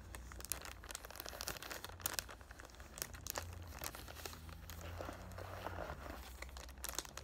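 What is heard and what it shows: Fingertips and short painted nails rub and crinkle the clear cellophane wrap near the top of a palm-sized cardboard "Thank U Next" perfume box held up in the hand. Dense, bright crinkling and sharp crackles come in quick bursts over a soft low hum, staying quiet throughout.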